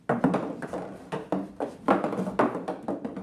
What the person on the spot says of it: it doesn't make near as many hits in the larger box as it does the smaller box